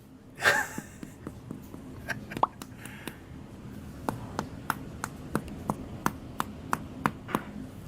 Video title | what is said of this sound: Reacting to Bon Appetit | sounds Hollow loaf number twoz there's more air pockets in there